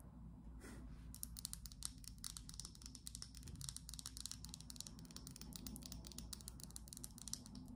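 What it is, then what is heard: Glass perfume bottle. Long glittery acrylic nails tap and scratch a small, slim, clear glass perfume bottle with a black cap, partly filled with liquid and held in the hand. A rapid, steady stream of quiet, bright clicking taps and light scratching runs throughout over a faint low hum, with a brief soft brush near the start.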